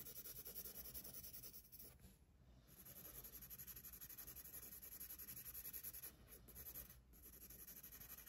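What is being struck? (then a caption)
Paper sketchbook page under a pencil. A pencil scratches light strokes across the paper page of an open sketchbook resting on a desk. The result is a quiet, steady run of soft, gritty scratches with a bright hiss, over a low background rumble and brief pauses between strokes.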